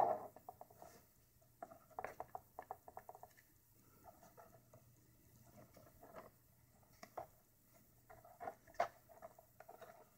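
Long red-painted nails and fingertips tap and scratch the textured surface of a large, thin, curved hip armor plate of tan Worbla thermoplastic sheet, a hollow shell lying on a wooden table. Quiet, light clicking taps come in irregular bursts with soft scratchy patter between them; the sound is midrange with a brief hollow ring after each tap.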